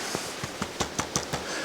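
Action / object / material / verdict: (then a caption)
tap / black powder rifle, steel and wood / steel and wood / tight. A Thompson Center Hawken black powder muzzleloader rifle of steel and wood is tapped to settle a 75-grain powder charge just poured down the barrel. A series of short, sharp taps is heard, with no rattle between them, showing the rifle's parts are tight and well fitted.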